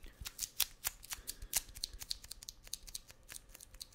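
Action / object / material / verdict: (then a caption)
tap / kraft paper packing tape roll with cardboard core / kraft paper / none. A wide roll of brown kraft paper packing tape with a cardboard core is held in one hand and tapped and scratched on its outer surface with fingertips and nails. The result is a quick, irregular string of dry, crisp taps and scratchy ticks that are mostly high and bright, with very short decay and little low end.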